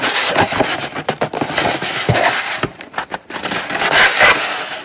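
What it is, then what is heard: Cardboard box scratched and tapped with nails. Long acrylic nails scratch and tap across the lid and sides of a small brown kraft cardboard gift box resting on a fabric mat. The result is dry, bright rasping strokes broken by quick hollow taps, with the scratching rising and fading in irregular bursts.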